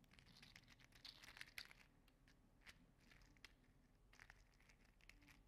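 A small red-orange 3D printed plastic segmented mini slug toy is bent and curled in the fingers, so its plastic segments clack and rub. The result is a quiet, steady stream of dry, crinkly clicks and scraping rustles, bright and concentrated around 2 kHz, with a few sharper clacks standing out.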